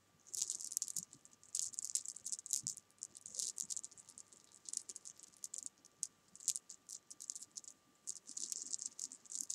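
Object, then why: Jelly bean candies on fabric. Small solid jelly bean candies resting on fabric are picked at and moved about with long nails, making quick bursts of high, bright rattling and light taps. The clicks come in dense clusters that overlap too closely to count, with short quiet gaps between bursts and a faint steady hum underneath.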